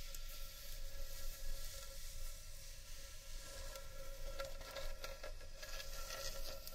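Long nails scratch and tap along the rim and inside of a large, hollow, empty carved wooden bowl. A steady, dry scratching hiss runs throughout over a low rumble, with a faint sustained hollow tone and small irregular tapping swells.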